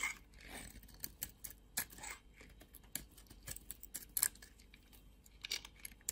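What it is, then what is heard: Bar soap being carved. A metal blade carves chunks and flakes off a red and white bar of soap held in fingers with long nails. Quiet, bright scraping is broken by a quick series of sharp, crisp snaps and clicks that die away almost instantly.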